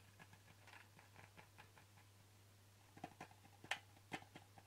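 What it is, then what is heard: Plastic pill bottle. Fingertips and nails tap the flat sides of a hollow white plastic supplement bottle, with a ribbed screw cap and a red-bordered label, held in the hands. Soft, quick, irregular clicky taps start out faint, then a few sharper, brighter taps stand out near the end. A steady low hum sits underneath throughout.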